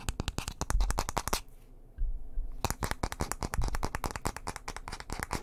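A light wooden bristle hairbrush is held close to the microphone while fingernails scratch quickly across its bristles and wooden back. The result is a dense run of sharp, crackly scratches and taps. A brief quieter lull falls in the middle before the rapid scratching resumes.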